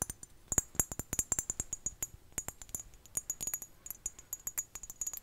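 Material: Ceramic.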